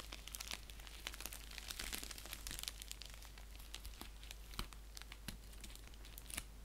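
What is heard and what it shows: Fingertips and nails scratch and crinkle an orange padded bubble mailer envelope, likely paper or plastic with bubble lining, which lies flat, hollow and empty-looking on a blanket with a clear plastic sleeve at one end. A dense, crisp crinkling runs steadily throughout, bright and papery, with sharp crackling ticks popping out over a steady low hum.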